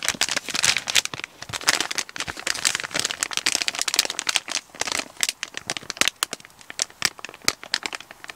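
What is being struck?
Kraft paper mailer bag.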